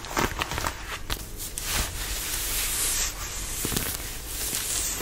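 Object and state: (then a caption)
Denim fabric scratched with fingernails. Fingernails scratch the fabric of a fitted denim dress being worn, working at the neckline and waist. Bright, rough rasping comes in short strokes at first, then settles into a steadier, continuous scratching with a low, dull rumble underneath.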